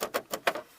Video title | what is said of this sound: THE MUSCLE TRUCKS FUEL SYSTEM (V6 TO V8 CARB SWAP) | They're not really bolted down. Everything in here, as you guys know, is loose or vibrates.